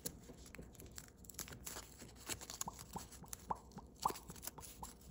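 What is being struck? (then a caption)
Thin foil origami paper. Thin holographic blue foil origami paper, shaped into a partly folded crane, is folded and creased by fingertips and thumbnails. The result is a quiet, steady stream of crisp crinkles and crackles with irregular sharp ticks, some carrying a brief mid-pitched ping, over a soft rustling bed.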